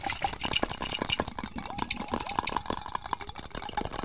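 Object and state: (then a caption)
Glass jar tapped and scratched. Fingertips and nails tap and scratch the sides of a medium, hollow, apparently empty clear glass jar held in the hands. Quick, irregular light taps produce brief glassy pings around 950 Hz, mixed with a bright, hissy scratching noise throughout.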